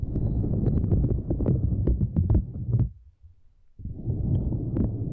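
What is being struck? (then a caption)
Silicone grid mat. Long nails scratch and tap across a small, flat, purple silicone grid mat resting across a microphone, making a dense, low, rumbling scrape dotted with sharp, bright clicks. The scratching stops for a near-silent pause of under a second, then resumes just as thickly.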